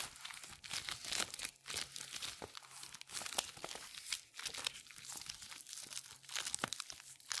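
A thin purple latex resistance band is pinched, crumpled and rubbed between black nitrile-gloved fingers. It makes a steady stream of bright, crackly crinkling and squeaky rubbing, with dense high rustle, almost no low end, and short swells as the grip tightens and loosens.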